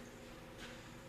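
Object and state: Nothing is struck.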